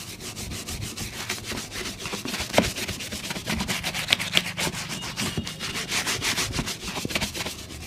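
A brown leather boot, held in one hand, is brushed with a wooden-backed bristle brush. Quick back-and-forth strokes make a steady, bright, hissy scratching at about four strokes per second, with a few sharper clicks mixed in.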